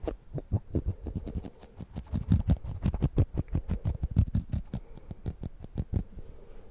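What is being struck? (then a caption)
Plastic comb. Fingernails scratch and flick along the fine teeth of a black plastic comb with a handle, held close to the mic. The result is an irregular run of quick, dry clicks and ticks, about three per second, each dying away almost at once, with a close, low-heavy thump under the scratchy flicks.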